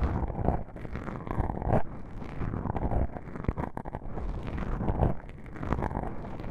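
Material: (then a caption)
Foam. Long pink-painted nails scratch and rub two small, soft, porous black foam windscreen covers on a binaural microphone. The result is a dense, muffled stream of low, boomy rustling and scraping with almost no high content. Brief louder bursts rise out of the steady rumbling friction.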